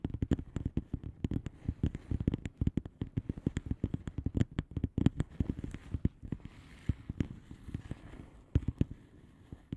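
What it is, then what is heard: Bubble wrap padded envelope. Long fingernails of both hands tap on a flat blue plastic bubble wrap padded envelope with air-filled bubbles. A quick, steady patter of short, dry taps with a soft, low body comes through, each dying away almost instantly. The taps thin out briefly near the middle, then return as scattered louder clicks.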